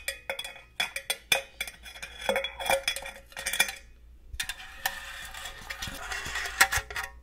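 Long gold metal claw nail covers tap and scratch a hollow, likely empty, red and green printed cylindrical metal cookie tin with a lid. A quick run of bright, clicky metallic taps with a short ring around 1.9 kHz fills the first four seconds. After a brief silence, a steady hissing scratch across the metal follows, with a few sharper taps mixed in.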